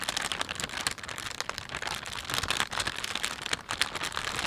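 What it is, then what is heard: Plastic shopping bag. Fingertips pinch and rub the film of a thin, empty panda-print plastic shopping bag. The result is a steady stream of dense, bright crinkling and crackling with quick, dry snaps and almost no low end.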